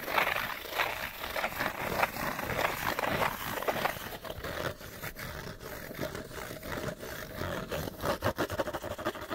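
Fingernails scratch quickly across the printed sides of a small, empty, open-ended rectangular cardboard Panasonic light bulb box. The result is a steady run of fast, dry, rasping scrapes with a bright, hissy edge and the hollow papery rattle of the empty package, continuing without pause throughout.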